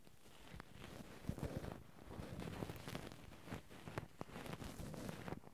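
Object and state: Metal microphone grille rubbed with cotton swabs.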